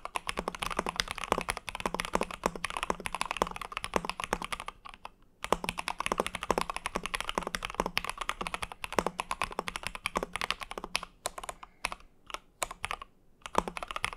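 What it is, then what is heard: Mechanical keyboard being typed on. An Ikki Aurora R1 compact mechanical keyboard with Hyperglides, a translucent mint-green acrylic case, an aluminum plate and white and mint PBT keycaps is typed on continuously with fingertips. The result is a steady stream of short, crisp clacks with a low thocky body and bright tops. There is a brief pause around five seconds and more scattered keystrokes toward the end.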